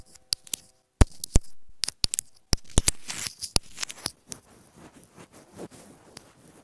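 Long nails tap repeatedly on a small hollow white plastic inline remote microphone on an earphone cable resting on fabric. Sharp, dry, close clicks land at an uneven pace, with bright scratchy rustling between them that swells around the middle and then fades to soft fabric scuffs.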